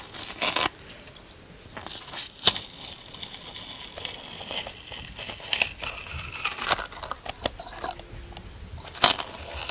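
Fingers scratch and pick at the top surface of a large white expanded polystyrene packaging insert, a solid foam block. Bright, dry crackling and squeaky scraping run throughout, with sharp louder snaps breaking out at intervals over a low background.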